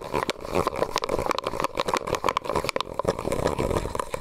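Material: Plastic.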